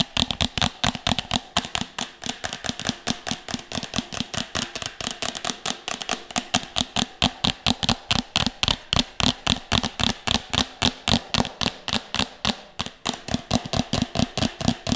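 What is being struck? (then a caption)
Upturned plastic bowl. A medium, empty, hollow red plastic bowl is held upside down close to the mic and tapped and scratched with long nails. Fast, uneven clicking taps with short, bright scratchy tails repeat throughout, each carrying a faint hollow plastic tone.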